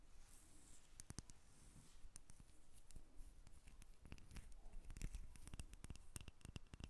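A solid cream-colored rectangular bar of soap, held in both hands, is scratched and tapped with long red acrylic nails. Quiet, sharp clicking taps with bright edges come in quick irregular bursts over soft scratchy rasping. Each tap dies away almost instantly.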